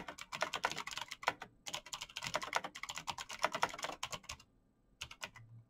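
Fingertips in fingerless knit gloves type fast on a black plastic mechanical gaming keyboard with clicky green switches, backlit keys and a hollow case. Rapid, bright, crisp clicks come in dense bursts, with a short pause early on and a longer gap near the end before a few final taps over a faint low hum.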